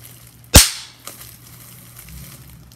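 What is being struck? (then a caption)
Plastic bubble wrap. A bubble on a clear plastic bubble wrap sheet is pinched and popped with fingers and nails, giving a sharp, bright snap that fades quickly. A second, much fainter pop follows about half a second later over a low, quiet background hum.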